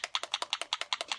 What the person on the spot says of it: you might be able to hear the little marble in there